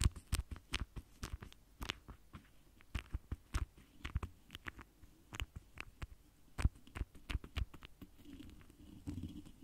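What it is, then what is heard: Metal mesh microphone grille tapped with a foam applicator. The foam doe-foot tip of a pink lip gloss applicator, held in the fingers, strokes and dabs the hollow, large rounded metal mesh grille of a microphone. About twenty soft, quick, dull taps with a deep low thump and faint crisp high clicks stand out from a quiet background. The clip ends in a steadier, soft rubbing hiss.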